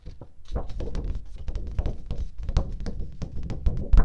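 A single flat teal cardstock sheet, held in both hands, is tapped on its surface by long painted nails and fingertips. The result is a rapid, steady stream of dull, low thunks with short clicky tips, each dying away almost at once.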